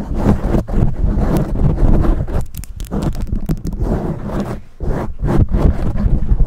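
Long manicured nails on both hands scratch and tap a soft, hollow black foam windscreen fitted over a large USB condenser microphone. The result is a dense, continuous scratching and muffled tapping, heavy with low rumble, with quick brighter scrapes breaking through now and then.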